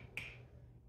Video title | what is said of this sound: How to Check the Seal on Your Home Canned Food | that's the high pitch sound now this jar is clearly not sealed it doesn't have anything in it